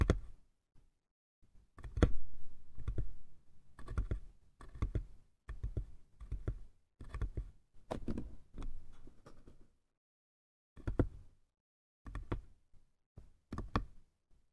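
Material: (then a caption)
Wood. Nails and fingertips tap and click on the sides of a small, hollow, light-wood box near its top edge. The sound comes as dense bursts of quick, dry clicks with a low, hollow body and very short ring, broken by brief pauses and a longer silence before a few final taps.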